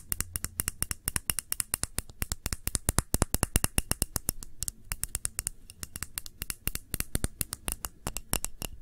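Long manicured nails tap and scratch a small round clear glass candle holder with red layered contents, held tilted in one hand. Dozens of quick, bright, dry clicks come in a rapid, uneven rhythm, each dying away almost instantly over a low, steady hum.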